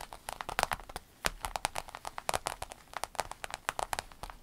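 Long pointed acrylic nails from both hands tap and scratch the surface of a rainbow holographic vinyl fanny pack lying flat, soft and hollow. Rapid, uneven clicks and crisp crinkly scrapes overlap in quick bursts, each one dry and short with bright high edges. The result is a dense, crackly patter.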